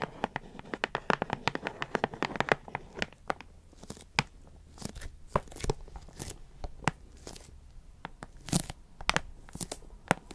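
A closed, printed cardboard puzzle box with cartoon art is held in the hands and tapped and scratched with long nails. Quick, dry, clicky taps come in a dense flurry with scratchy, papery rustling for the first few seconds, then thin out into sparser, sharp, bright taps over a quiet background.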